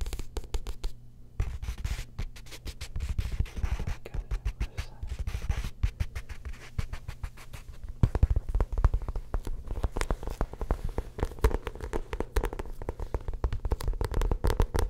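Fingernails rapidly scratch and tap the glossy paper cover of a paperback copy of "Into the Wild" held in the hands. The result is a dense stream of short, dry clicks and scratchy rasps that stay mostly low and muffled, with each sound dying away almost instantly.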